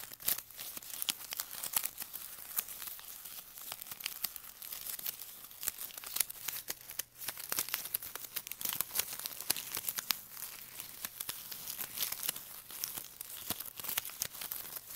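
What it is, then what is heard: Plastic ribbon gift bow being crinkled. A small shiny blue plastic ribbon gift bow rests on carpet while fingertips press, crinkle and scratch its loops. The result is a continuous stream of dense, bright, crackly crinkling and tearing-like rustles, with short sharp snaps throughout and almost no low-frequency content.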